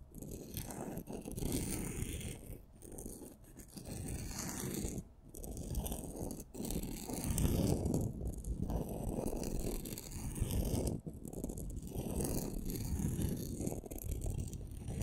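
Two solid wooden pencils about 18 cm long, one purple and one red, both glitter-coated, are held crossed in both hands with long manicured nails and rubbed and scraped against each other. The result is a dense, gritty scraping texture, mostly low and dull with little brightness, running in rough, irregular strokes broken by a few brief pauses.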